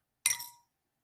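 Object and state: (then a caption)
Metal house key dropped into a container. A metal house key is dropped into a container of water during a sink-or-float test, giving a bright, high-pitched clink with a short ring, with two hits showing in quick succession. The key sinks quickly to the bottom because it has too much weight to float.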